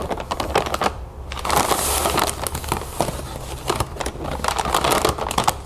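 Fingers and long nails scratch and tap on a full, clear plastic bag of cereal puffs resting on a table. Close, dense crinkling and crackling of plastic mixes with quick light taps, with a brief pause near the first second. The scratches give a bright hiss while the taps are short and dry.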